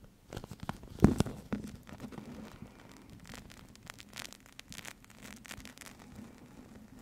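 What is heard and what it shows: A small flat clear plastic (PVC) eye mask filled with teal gel beads, with a white elastic strap, is squeezed and rubbed with long yellow-painted nails and fingertips. It makes soft, quiet crinkling, tapping and squishing sounds. A louder burst of crunching comes near the start, then gentle scratches and taps continue over a low steady hum.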